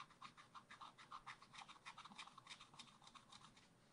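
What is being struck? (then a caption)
Wooden stylus on coated scratch art card. A wooden stylus scratches stripes into a black-coated scratch art card held in a spiral pad. It makes a rapid, slightly uneven series of short, dry scraping strokes, quiet and bright, with a rough rasp centred near 1 kHz.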